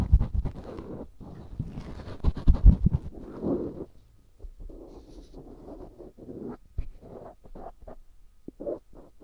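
A black cotton swab scratches the canal and lower bowl of a life-size white silicone ear microphone, a solid, soft, rubbery binaural mic. The close, muffled scraping and rubbing is mostly deep and rumbly, in uneven bursts that are louder for the first few seconds and then turn softer and more broken up.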